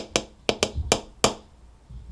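A plastic cup is tapped on its bottom and side with a spoon, played like a drum. Five short, bright, dry taps ring briefly, and tapping the side gives a different sound.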